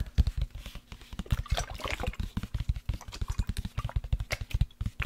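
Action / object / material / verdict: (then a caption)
tap / plastic sports water bottle holding liquid / plastic / none. A black plastic sports water bottle with a blue cap, holding liquid, is tilted, tapped and gently shaken by hand. Quick, dull, low-pitched taps are heard throughout, with a brief slosh of liquid in the middle.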